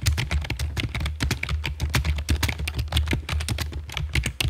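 Long fake nails and fingertips type rapidly on the keycaps of a full-size black plastic computer keyboard with a hollow body, resting on a stone table. The result is a dense stream of bright, clicky taps with short decays over a steady low hum.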